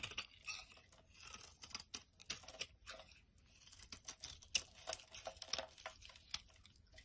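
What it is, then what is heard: Dry soap bar. A utility knife blade scrapes across the surface of a solid, dry orange soap bar held in the hand, crumbling it away. The sound is a quiet, bright run of crisp scraping strokes and crumbly ticks that comes in short uneven bursts with almost no low end.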